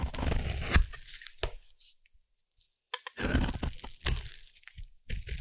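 A knife scores a solid orange bar of soap, then a blade carves it into shavings, making dry, crunchy scraping and crackling bursts. The cutting falls nearly silent for about a second midway, then resumes in a dense run of crisp cuts.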